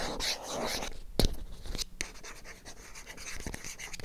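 Long acrylic nails tap and scratch the faces and edges of a small, hollow white cardboard MyGel packaging box. Soft, dry scratching and rubbing runs throughout, broken by a few sharper, bright taps that die away almost instantly.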